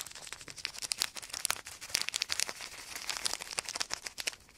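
A wadded clear plastic sheet is crinkled between the fingertips close to the microphones. The result is a steady stream of sharp, dry crackles and snaps that are bright and high with almost no low end, each dying away instantly.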